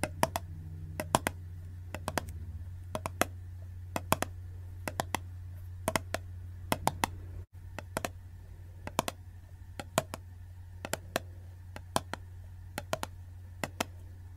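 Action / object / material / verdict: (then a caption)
tap / plastic tub with metal screw lid / plastic / none. Long gold-painted nails tap and click on the silver metal-look screw lid and sides of a full, medium, clear plastic jar of Glitter Goo slime held in both hands. About forty sharp, dry clicks come in quick clusters over a steady low hum, with a brief silent dropout midway.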